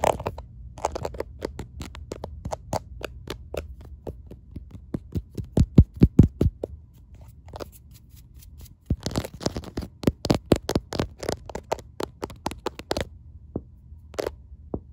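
Long painted nails and fingertips rapidly tap and scratch a smartphone held upright in a clear case covered with raised, faceted rhinestones. The result is a quick, irregular stream of sharp, dry clicks and brief scrapes that die away almost at once, over a steady low hum. The tapping peaks loudest around six seconds, pauses briefly near nine seconds, then resumes before thinning out toward the end.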